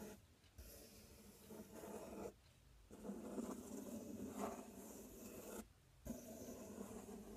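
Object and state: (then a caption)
Cardboard box being scratched. Fingertips and nails scratch across the front panel of a large, empty, open corrugated cardboard box. The result is bursts of dry, raspy rubbing with a fuzzy midrange, broken by two short quiet gaps.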